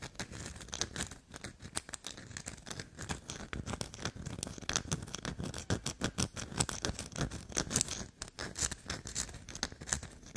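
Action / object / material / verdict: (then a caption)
scrape / soap bar / soap / none. Long black nails rapidly scratch and tap a solid black soap block covered in scratch lines. The result is a dense, dry run of quick scrapes and soft taps with a bright, hissy top and a soft low thump, each stroke ending instantly with no ring.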